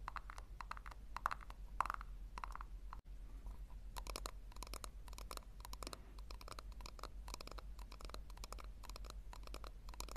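Long nails tap and scratch a small, hollow pink plastic tub in quick, dense bursts of crisp clicks and scrapes centered around 1 kHz with a bright edge, cutting off briefly at about 3 seconds before resuming. A steady low hum runs underneath throughout, and the tub is then held with its base facing forward.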